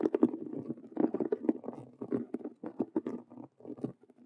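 Long nails on both hands scratch fast across a hollow faux leather Rubik's cube handbag with stitched vinyl squares. The result is a dense run of dry, papery scratching bursts with a muffled, mid-low body. The bursts stop and start unevenly, with short gaps between them.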